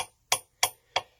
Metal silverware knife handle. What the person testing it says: If I take one that is hollow and tap it, you can hear the difference. There's like a clinking sound.